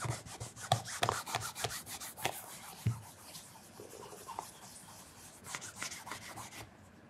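Fingers wrapped in a white cotton cloth rub and polish the upper of a single black calf leather loafer, hollow with a wooden shoe tree inside and held on its side. Quick, irregular strokes make bright, raspy swishes with soft low thumps. The rubbing eases to quieter strokes and then stops near the end.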